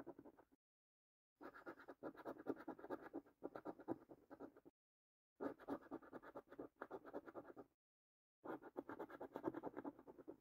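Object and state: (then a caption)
Paper scratch card with latex coating being scratched. A coin scratches the latex-coated panels of a thin cardboard paper scratch card with repeated short strokes. Dense, dry rasping comes in bursts separated by brief silent pauses, its energy centered in the midrange with a faint high hiss.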